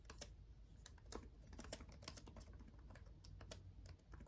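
Both hands type fast with their fingertips on a black laptop keyboard with RGB backlit plastic keys. A rapid, uneven stream of light, dry plastic clicks and ticks, each with a bright snap that dies away at once, sits over a steady low rumble.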